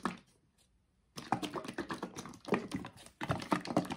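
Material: Paperboard.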